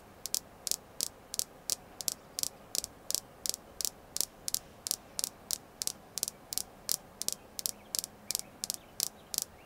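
A red jasper crystal stone is tapped continuously in a steady, even rhythm. About 30 short, bright clicks sit high in pitch and die away almost instantly, over a faint, quiet hiss.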